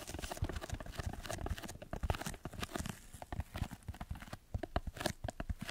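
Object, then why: Layered foam block. A red layered foam block is bent and squeezed in the hands while fingertips scratch its surface. Dense, rapid scratchy crackles and soft dry taps sound close up, mostly low and muffled with brief brighter flicks. The crackling stays steady, dips briefly, then returns in sharper bursts.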